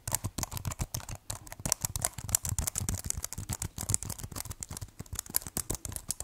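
Fingertips type on and tap the black keys of a keyboard in a white plastic case. A rapid, dense run of short, dry clicks follows, with low thumps under bright, sharp key clatter and almost no ring after each strike.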